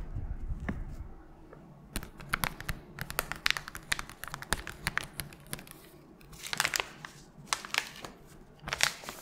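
A small, flat, pink printed guitar-string packet in a paper/foil sleeve is held in a gloved hand with long nails and crinkled and scratched close to the mic. Dense, crisp crackles and bright scratchy bursts come in clusters, with quieter rustling between them, at a soft overall level.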